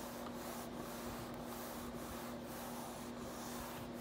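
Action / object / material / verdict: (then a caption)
scrape / plastic computer keyboard / plastic / none. A palm and fingers rub and slide across the keycaps of a black plastic RGB backlit computer keyboard, with a few key presses. The result is a soft, steady, continuous swishing hiss with a faint low hum underneath and no distinct separate clicks.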